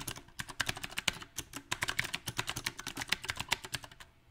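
Fast fingertip typing on a compact backlit mechanical keyboard with round plastic typewriter-style keycaps, about 29 dense key taps in just over four seconds. Each tap is a short, bright click with almost no ring and little low end, at an uneven rhythm.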